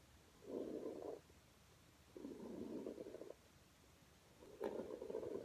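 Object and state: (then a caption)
Rug brushed with a hairbrush. A plastic paddle hairbrush with bristles, held by a hand with painted nails, is brushed in strokes across a flat red low-pile fabric rug lying on the floor. Three soft, breathy scrubbing strokes are heard, concentrated in the low-mid range with quiet pauses between them. A brief bright click marks the start of the last stroke.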